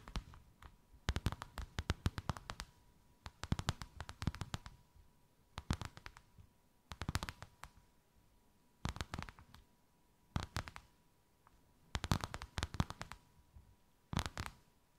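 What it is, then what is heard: Embossed faux leather sheet. Long white acrylic nails tap and scratch a thin white faux-leather sheet with a snakeskin emboss, draped over something rounded. Rapid clusters of soft, dull, low-weighted clicks and scrapes come in about nine short bursts separated by quiet pauses, over a faint steady tone.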